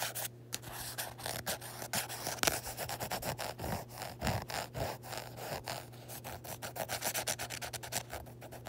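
Long nails scratch and rub in quick, repeated strokes over the embossed printed letters on the matte, textured card cover of a closed small paperback copy of *On Tyranny*. Each stroke makes a dry, bright rasping scrape with a very short decay. A sharper click stands out near the start, and a faint steady low hum runs underneath throughout.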